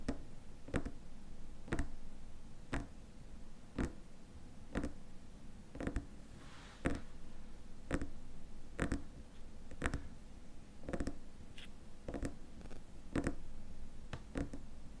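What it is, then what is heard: Glass cream jar. Fingernails tap and scratch the sides and lid rim of a small, squat, clear glass cream jar with a white lid sitting on a table. Sharp, bright taps land about once a second over a steady low hum, with light scratching between them.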